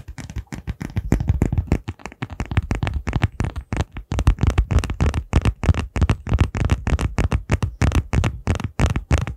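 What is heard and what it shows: A small, hollow, transparent plastic case that appears empty is held in both hands in front of the mic while fingertips and nails tap and scratch its surface. The result is a rapid, irregular stream of short, dull, low-pitched taps with almost no bright content and very little ring after each hit.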